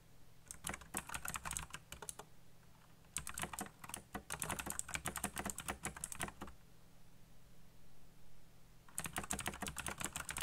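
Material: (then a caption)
Plastic. Fingertips fast-type on the plastic keycaps of a black backlit mechanical computer keyboard, producing rapid, bright clicking and clacking. The typing comes in three bursts separated by short pauses, over a steady low hum.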